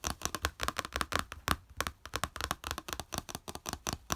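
Fingertips and nails rapidly tap and scratch a small, flat yellow plastic plate with a slotted raised edge, lying on beige fabric. About 26 quick, dry plastic clicks and scrapes come in an irregular rush, each bright and sharply cut off with almost no ring. A faint low thud sits under the taps.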